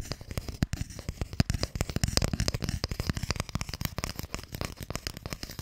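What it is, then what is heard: Wooden box, tapped and scratched. Long nails tap and scratch on a narrow, hollow wooden Mikado box held close to the mic. A rapid, uneven series of dry, short clicks and knocks carries a low, hollow body, with faint bright scratchy texture between the taps.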